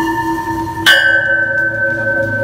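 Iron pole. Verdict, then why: Real. A hammer strikes a solid iron pole, taken from a pile of poles in front of a house, to show it is real iron and not a staged prop. A single sharp metallic clang rings out with a bright, bell-like tone that sustains for about a second and a half before fading.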